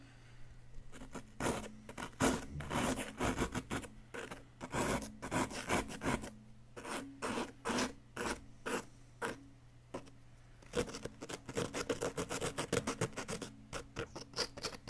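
A flat wooden chisel scrapes and chips at a solid yellow plaster block held steady by one hand. Many short, dry rasping strokes come in quick bursts with brief pauses, including a longer pause around ten seconds. A faint steady low hum runs underneath throughout.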